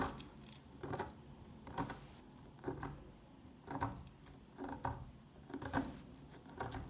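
An old, solid, dry orange-brown soap bar held in the hand is scratched and picked into crumbly flakes with a metal pick. It makes quiet, irregular scraping crunches and short clicking snaps, each with a brief bright crackle, over a soft low scratchy background.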